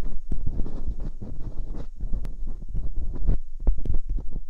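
Metal dental picks scrape inside the ear canals of silicone binaural microphone ears. The close scraping comes through as dense, muffled low rumbling and scratching, with a few sharper clicks toward the end.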